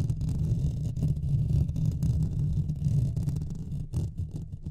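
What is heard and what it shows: Fingertips and nails of both hands scratch the hollow metal mesh grille of a Blue Yeti microphone. The result is a continuous, deep, muffled rumbling scrape, with almost all of its energy below 200 Hz and a steady, busy texture that fluctuates slightly in loudness throughout.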